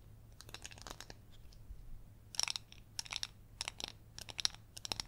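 Long yellow acrylic nails tap and scratch the glittery outside and base of a gold glitter-coated glass candle jar full of white wax. The result is a quiet run of crisp, dry clicks and bright, crackly scratching in short clusters, with almost no low end and no ring after each touch.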